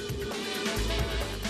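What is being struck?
Nothing is struck.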